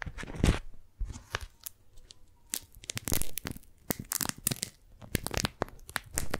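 Fingers peel the sticky folds of a pink strawberry-print beeswax-coated cotton food wrap apart and crumple the sheet. Bursts of tacky tearing and crinkling crackle alternate with soft low handling thumps and short quiet gaps.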